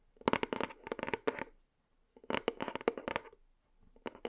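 A white cardboard box held in both hands is tapped and scratched with fingernails on its front. Bursts of quick, dry clicks and scratchy crackles come in short clusters, with a pause in the middle and a few more taps at the end. The sound is light and papery with a mid-range body.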